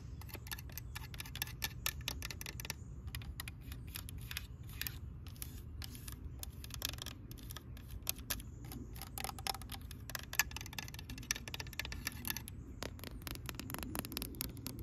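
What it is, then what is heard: Plastic toy tractor tapped with nails. Long nails tap rapidly on the fender and hood of a green hollow plastic toy tractor. The result is a dense stream of quick, light, clicky taps with almost no ring, over a steady low background rumble.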